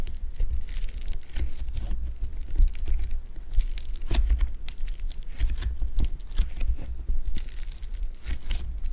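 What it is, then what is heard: Foam bead clay (floam) being squeezed. A hand-sized solid lump of blue foam bead clay (floam) is squeezed and kneaded with thumbs and fingers, producing a continuous run of dense, crunchy crackles and sharp bright snaps. A steady low rumble runs underneath the whole time.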